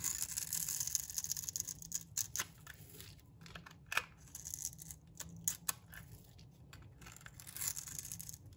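A metal blade scrapes crumbly shavings off a solid, dry, rectangular bar of brown laundry soap. Bright, dry rasping strokes with sharp, clicky edges come in uneven bursts, some louder than others, with quieter scraping in between.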